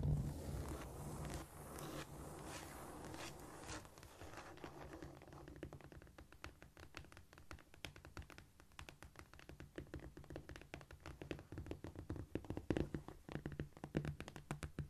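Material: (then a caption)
Cork. Long painted nails on both hands scratch and scurry across a flat, solid cork floor, making a dense, hissy rustle for the first few seconds. They then switch to rapid tapping: a quick flurry of short, dry clicks with a dull, low body that grows louder and more uneven toward the end.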